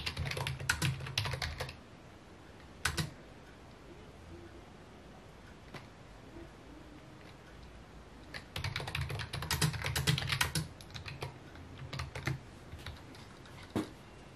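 Fingertips type on a full-size white and mint plastic computer keyboard with a hollow housing, resting on a wooden desk. Short bursts of sparse, clicky key taps with a hollow low thump come at the start and again near the middle, separated by a long quiet stretch with only a few isolated taps. A final scattering of single keystrokes trails off at the end.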